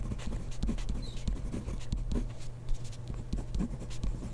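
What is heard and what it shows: A ballpoint pen writes rapidly on grid paper in a spiral notebook, the tip scratching across the page in quick, uneven strokes. Soft, dry scratches come in short bursts over a steady low hum.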